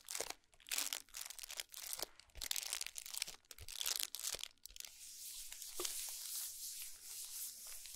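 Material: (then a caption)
Cardboard. Long nails tap and scratch the back of a gold cardboard chocolate box with a nutrition label, lying flat on a towel. Short, bright scratchy bursts with quick taps come in uneven bursts for the first half. They then give way to a steady, continuous high-pitched scraping hiss.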